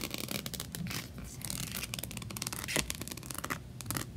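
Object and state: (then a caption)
Rhinestone-covered plastic diary. Long nails scratch across the rhinestones of a rainbow rhinestone-covered plastic diary with a unicorn patch and tap its cover. The result is a dense, bright, gritty rasping broken by quick, sharp clicks, with a steady low rumble underneath.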